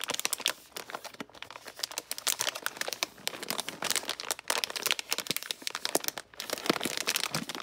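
A full, silver foil-lined metallized plastic bag of Guittard milk chocolate baking chips is held in both hands by fingertips with painted nails and crinkled and handled over a mixing bowl. A dense, continuous stream of sharp, bright crinkles and crackles with almost no low end is heard, rising and falling in bursts throughout.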